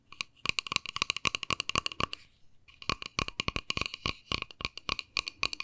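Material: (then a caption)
Plastic. Long nails tap quickly on a small, hollow, white-and-pink plastic case as it is turned in the hands. The result is a rapid stream of sharp, bright clicks with a hollow ring around 2.8 kHz, very little low end, and a brief pause midway before the tapping resumes.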